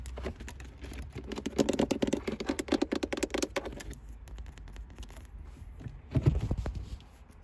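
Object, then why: Chrome-plated metal gear shift knob. Long white acrylic nails and fingertips tap and scratch a round, solid, polished chrome manual-transmission shift knob with an engraved gear pattern, mounted above a leather boot. Rapid, dry clicking taps build into a dense flurry with short, dead clacks that stop quickly. Softer scratching follows, then a final burst of taps.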